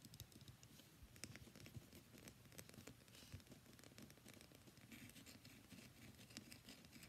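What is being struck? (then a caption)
Bar of soap. A solid cream-white bar of soap, gripped in both hands, is scratched rapidly along its surface with long nails. The result is a quiet, steady stream of dense, dry scratching and small ticking taps, with a soft low body under crisp, bright edges.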